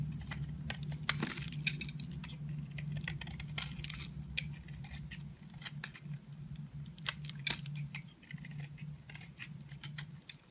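A pink and lilac bar soap with a heart pattern, mostly carved and held in the hand, is scraped and cut by a utility knife blade. Short, crisp, bright scraping and cracking bursts repeat over a steady low hum. Chunks and shavings fall and pile up below.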